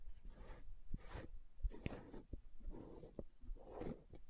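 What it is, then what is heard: Plastic aloe gel jar. Long nails tap along the side wall of a green plastic aloe gel tub held on its side. Quiet, dull clicks land at uneven intervals over soft, brushing swishes, with a low rumble underneath and no ring after each tap.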